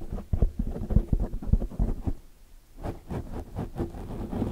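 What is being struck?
Foam microphone windscreen.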